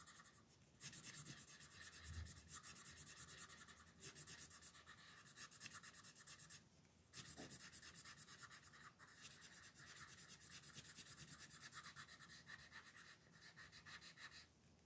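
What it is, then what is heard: Pencil shading on a paper page. A red colored pencil scratches across a thin paper coloring book page resting on a table, shading a dinosaur's back. Quick, steady back-and-forth strokes make a bright, papery rasp, broken by a few short pauses between stretches of shading.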